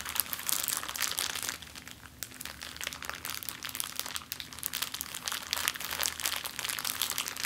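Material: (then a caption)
Plastic. A flat, clear plastic zip-lock bag lying on a table is rubbed and scratched under the fingers and long nails of both hands. It makes a steady, dense, bright crinkling with quick crackles and almost no low end, easing briefly around the two-second mark before picking back up.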